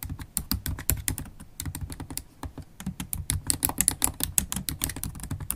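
Long acrylic nails and fingertips type fast on a MacBook Pro keyboard with black plastic keys set in an aluminium body. The result is a rapid, uneven stream of short clicks, each with a dull low thud under a bright, crisp tick that dies away almost instantly.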